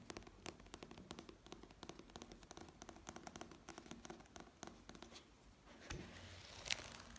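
Dark-painted fingernails tap and scratch the glossy printed paper cover and page edges of a small, solid paperback novel, making quick, crisp clicks and dry scratching that are bright and close. Toward the end, the pages are riffled in a short, louder papery flutter.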